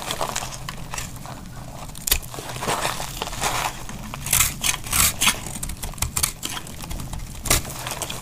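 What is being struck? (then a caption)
Laundry soap bar cut with a metal blade. A cream-colored, solid bar of dry laundry soap is held in the hand and cut and scraped with a metal utility knife blade. Dry, bright crackling and crumbly scraping runs throughout, with sharper snapping bursts standing out as the blade bites into the soap.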